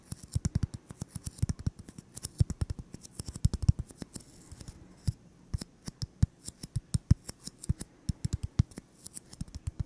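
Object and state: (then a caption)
Styrofoam ball. A solid white styrofoam (EPS foam) ball about 8 cm across is held in both hands and tapped and scratched with fingertips and short nails. A steady run of about 65 quick, dull, low thuds with no ring comes through, each carrying a faint bright scratchy click on top.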